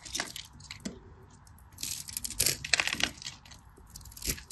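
A craft knife scores and cuts a solid beige cream bar soap into cubes, making dry, bright scraping and crisp crunching sounds in irregular bursts. The loudest cuts come near the middle and end, with quieter scratching between them.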